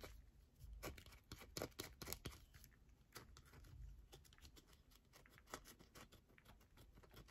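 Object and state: Bar of soap.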